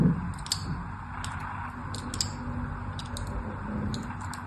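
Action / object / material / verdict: scrape / bar of glycerine soap / soap / none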